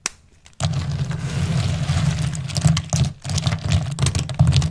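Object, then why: Dried soap shavings. Two hands with long pink nails press, rub and crush a large layer of small, thin, hard, multicolored dried soap shavings spread on a purple surface, using fingertips and nails. After a brief near-silent start, a dense, continuous crunching and crackling sets in, with bright crisp snaps over a strong low, steady rumble. The sound briefly drops out just after three seconds before the crushing resumes.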